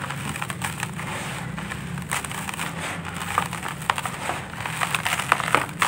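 Bare hands squeeze and crush dry, grainy sandy clay lumps in a red plastic basin, breaking them down into crumbling powder. A steady, gritty crackle and crunch runs throughout over a faint low hum, with sharper brittle snaps breaking through toward the end as the lumps give way.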